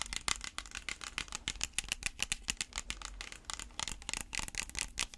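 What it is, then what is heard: Plastic water bottle tapped and scratched with fingernails. Natural fingernails tap and scratch a small, round, hollow clear plastic water bottle, which holds some water and is held close to the microphone. A quick, uneven run of crisp, bright plastic clicks and ticks is mixed with scratchy rasps. Each tap dies away almost instantly and carries little low end.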